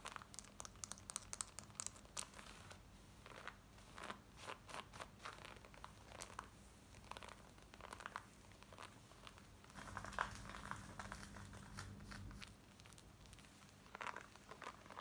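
Long nails scratch quickly over worn black denim jeans, working across the waistband, the side and the back pocket. Dense, dry, crinkly scratching comes in rapid bursts with brighter rasps, set over a faint steady low hum.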